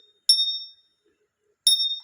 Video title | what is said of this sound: Lesson on Jades and Jadeite: Real Vs Fake | very nice timbre and almost a vibrato type of ping